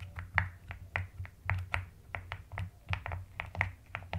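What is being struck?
Plastic mechanical keyboard.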